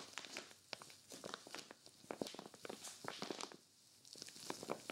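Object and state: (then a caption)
Crinkly vinyl storage bag being scratched. A clear vinyl zippered storage bag with white zipper trim, stuffed full with a grey knit sweater, is gripped and scratched by one hand with long nails. Quiet, rapid crinkles and sharp scratchy ticks of the plastic surface come in irregular bursts, bright and crisp with almost no low end.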